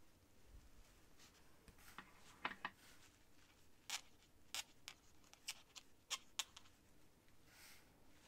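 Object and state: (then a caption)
Quill pen scratching on paper. A feather quill nib is scratched across a sheet of thin cream writing paper lying on a stack of papers on a desk, writing by hand. Quiet, bright, dry scratches come as short, separate strokes, with faint rustling between them.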